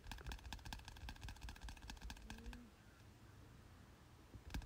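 Fingertips tap repeatedly on the glossy cover of a softcover biology textbook, a solid stack of paper lying on a bed. A quick run of soft, dull, low thuds fills the first half, then a quieter stretch of faint hiss, and a final burst of taps just before the end.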